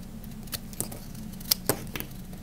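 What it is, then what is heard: Dry bar soap being cut. A small knife blade carves chunks from the edge of a hand-sized, dry, solid green Camay soap bar held in the hand. Several short, crisp cutting clicks and scrapes stand out with bright, high crackle over a steady low hum.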